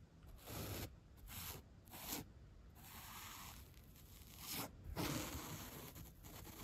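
A bottle brush tip and its white bristles brush along the side and top of a solid 3-inch white upholstery foam block, working over its corner and edge. The result is a series of soft, bright, scratchy swishes and rasping strokes with a breathy hiss. Short bursts come first, then longer sustained rubbing, and the level swells and eases with each pass.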